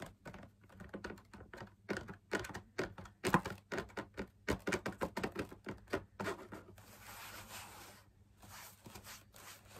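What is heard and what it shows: Fingertips tap the rim and outer surface of a hollow drum lamp shade, made of fabric laminated on a stiff perforated backing, while it is held up. Quick, dry, short taps come in uneven bursts over a faint low hum. Near the end they give way to a soft, bright, scratchy brushing before a few more taps.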